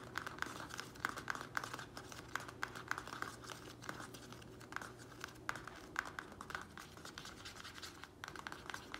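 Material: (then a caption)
Plastic. The sides of a small square black plastic nursery pot holding soil, resting on a wooden table, are tapped and scratched quickly with the fingernails of both hands. The result is a rapid, quiet stream of short, dry clicks with a bright plastic edge around 1.5 kHz, mixed with a steady scratchy rustle. Each tap dies away almost instantly.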